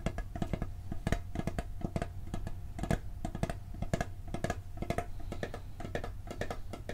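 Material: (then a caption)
Steel. Fingertips and nails tap rapidly on the printed lid of a hollow, round blue steel cookie tin held close up. The fast, uneven taps each give a short, dull knock with a low, boomy body and a faint metallic ring. The taps die away almost at once.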